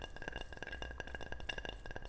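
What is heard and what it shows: A ceramic object is tapped repeatedly in a quick, fairly even series of light taps. Each tap gives a short, bright clink with a ringing tone around 2.8 kHz that dies away almost at once, over a steady low rumble.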